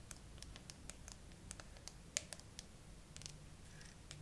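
Long acrylic nails tap and scratch across the flat glass back of a bare graphite iPhone with a metal frame, a solid handheld-sized phone clamped upright in a tripod phone holder. About sixteen quiet, sharp, bright clicks land at an unhurried, uneven pace, each dying away almost instantly, over a soft low rumble and faint scratching.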